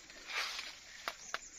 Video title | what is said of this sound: cara memilih alpukat yang tua. panen alpukat pangeran di Maninjau kab Agam Sumbar | ini bunyinya beda kan? Tak. Padat.